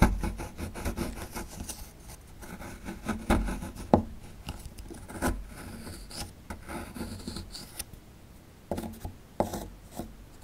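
A metal chisel scrapes and breaks away plaster at the bottom right of a solid plaster fossil dig block. Steady gritty scraping and rasping runs throughout, broken by occasional sharp cracks and snaps as chunks give way, with a dull, low-heavy tone and almost no ring.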